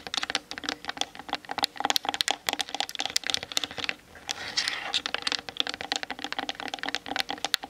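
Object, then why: Plastic camera body. Long nails tap rapidly on the sides of a hollow plastic Canon DSLR body, making a steady stream of sharp, bright clicks with almost no low end. About halfway through, the tapping gives way to a brief light scratching across the sides before the quick tapping resumes.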